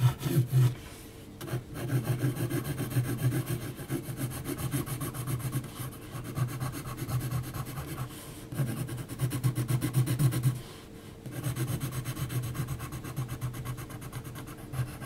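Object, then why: Graphite pencil on heavy textured paper. A graphite pencil point makes small, quick scratchy strokes across a flat sheet of heavy textured mixed media paper. The result is a steady, dense rubbing rasp, mostly low and soft, with brief pauses near the start and about two-thirds of the way through before the strokes resume.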